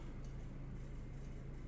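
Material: Nothing is struck.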